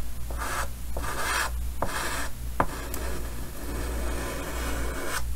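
White chalk held in the fingers is drawn in short strokes across the upper right of a large, solid, painted chalkboard set in a green wooden frame. Each stroke makes a dry, scratchy rasp, separated by brief pauses, over a steady low hum.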